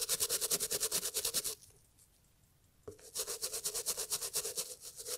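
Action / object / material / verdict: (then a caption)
scrape / leather and fabric loafer / leather / none. A toothbrush scrubs along the leather and welt of a hollow, empty brown Italian leather loafer with beige textile panels, held tilted in a gloved hand. Rapid, bright, scratchy brushing strokes come at about three per second, stop for just over a second, then resume at the same brisk pace.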